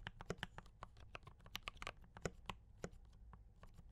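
A compact D84 mechanical keyboard with Brown switches and cream and red plastic keycaps is typed on continuously by both hands with fingertip taps. Quick, quiet keystrokes arrive in an uneven stream, each a short dry clack with a bright tick over a low thock that stops almost instantly.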